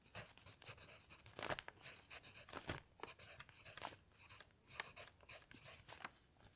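A graphite pencil held in the fingers writes on a stack of lined paper sheets lying flat on a cloth-covered table, while the other hand rests still on an open dictionary. Quiet, bright scratching strokes come in short bursts, with dense hiss in the high range and little low end.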